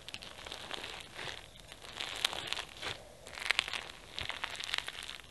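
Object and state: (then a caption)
Foam bead slime (floam) crackling. Two hands press, knead and pull apart pink floam slime packed with foam beads and flower sequins. The result is dense, bright crackling and crinkling in bursts that swell and fade over about five seconds, with almost no low end.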